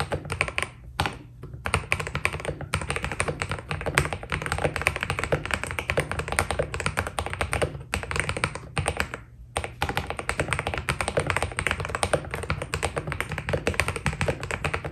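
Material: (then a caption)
PBT plastic. A white Keydous NJ80 mechanical keyboard with PBT keycaps is typed on steadily with the fingertips. It gives a dense, continuous stream of short, dry key clacks with a few brief pauses, over a steady low hum.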